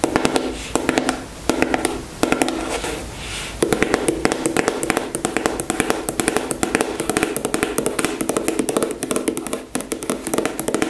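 Long nails tap rapidly and steadily on a soft, filled white plastic cosmetic squeeze tube held in the hands. The result is a stream of short, dry clicks with a hollow mid tone and very little ring, broken by a brief quieter, smoother stretch before the tapping picks up again.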